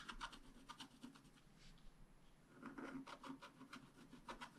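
A wooden stylus scratches a flat, black-coated scratch-art paper card while the other hand holds the card still. Quick, dry scratchy strokes come in bursts, with a quieter stretch in the middle before a denser run of strokes. Each stroke is a short, bright rasp over a faint low hum.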